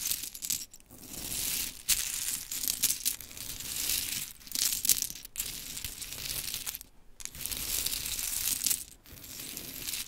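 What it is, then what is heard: Pile of mini wooden clothespins. Hands gather a pile of small pink mini wooden clothespins, then long chrome nails scratch and tap through them. The result is a steady run of bright, dry clicking and rustling clatter with almost no low end, broken by a few brief pauses.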